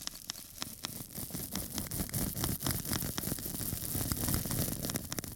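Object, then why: Foam sponge and small metal tool. A small, flat square of pink porous foam sponge, held up in one hand, is scratched across its surface with a small metal tool held in the other. The result is dense, crackly rasping in irregular strokes, roughly four per second, with a bright, hissy top and a soft low body.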